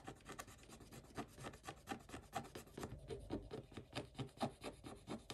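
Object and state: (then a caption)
Scratch-off coated paper page scraped with a wooden stick. A wooden stick scrapes across a flat scratch-off coated paper page in quick, uneven back-and-forth strokes. Each stroke gives a short, dry, raspy rub that is mostly low and midrange with little brightness, and the whole sound stays quiet.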